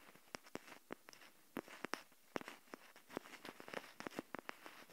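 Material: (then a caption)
Plastic. Long nails tap on the small hollow plastic shell of a Kinder Joy egg capsule held in both hands. It produces a quick, irregular series of light, bright clicks that stop dead with no ring, over a quiet background.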